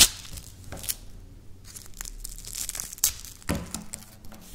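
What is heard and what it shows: Dry wafer biscuit pieces are pulled apart and crumbled between fingers with long nails over a stone surface. Crisp, bright crunching and tearing snaps come in short bursts, with a sharp crack at the start and louder breaks near the end.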